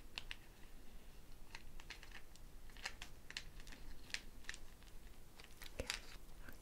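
A hand-sized hollow dried gourd shekere, wrapped in a string net threaded with small wooden bead-like pieces, is held in one hand and shaken while long painted nails scratch and rattle the beads against the gourd. Soft, dry, bright clicks and scratchy rattles come in quick irregular bursts over a low, steady background hum. Each click dies away almost instantly, keeping the sound quiet and delicate throughout.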